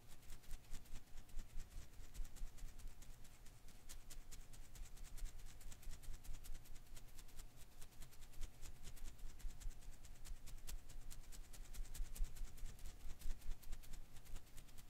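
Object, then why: Rubber filament Koosh ball. A single blue and green Koosh ball of thin rubber filaments is held in one hand while the thumb flicks and strums its strands. It makes a quiet, continuous run of soft, rapid ticks and rustles over a low, steady hum.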